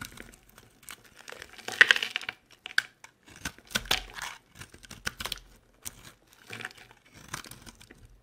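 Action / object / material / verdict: scrape / bar of soap scraped with a knife blade / soap / none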